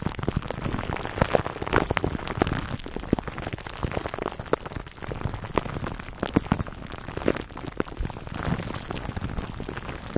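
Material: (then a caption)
Plastic film. Fingertips scratch and rub clear plastic cling wrap stretched over a black foam microphone windscreen. The result is a dense, continuous crackling and crinkling with many sharp little ticks over a low, muffled rumble, rising and easing in waves without pause.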